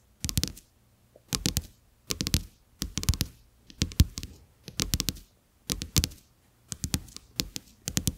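Fingertips and short nails tap on two thin, flat, solid plastic-coated paper playing cards lying side by side on a dark textured surface, close to the microphone. Eight quick bursts of rapid tapping are separated by short silences, each mixing soft low thuds with bright, crisp clicks that stop almost instantly.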